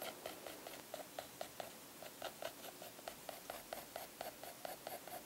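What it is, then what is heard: Pencil on sketchbook paper. A mechanical graphite pencil, held in a hand with long blue nails, scratches and shades across a thick drawing-paper page of a Moleskine sketchbook lying flat on a wooden desk. The quiet sound is a steady run of short, rapid scratchy strokes, each with a midrange tone around 680 Hz and a bright papery hiss, fading quickly between strokes.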